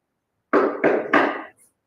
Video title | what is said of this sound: ACACIA FURNITURE - Make style your house | this one is made with the heavier heavier wood